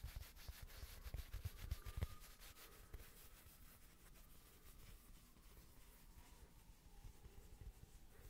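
Fingertips rub and scratch across the woven surface of a small, thin, solid square rug-style coaster with a red patterned fabric face, held in both hands. The result is a quiet, continuous, papery rubbing with a faint bright scratchy texture over a low, muffled rumble. It is a little louder and more active in the first two seconds, then settles into softer, steady strokes.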